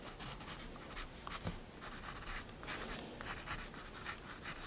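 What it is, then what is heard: Pencil drawing on sketchbook paper. A graphite pencil held in one hand draws fine detail strokes on the right side of a picture in a spiral paper sketchbook resting on a wooden desk. The light, steady scratching of pencil on paper comes in short bright strokes over a soft, continuous hiss.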